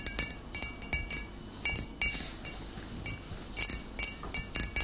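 Long nails tap the glass shoulder of a full, upright glass bottle of cider vinegar in quick bursts of taps. Each tap is a bright, high clink that fades almost at once, with brief pauses between the clusters.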